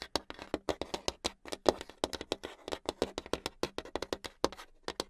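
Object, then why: Hardboard clipboard tapped with long nails. Long acrylic nails tap very fast on a flat, solid brown hardboard clipboard. Around three dozen short, dry clicks come in a rapid, uneven stream over about five seconds. Each click has a crisp, bright attack and almost no ring.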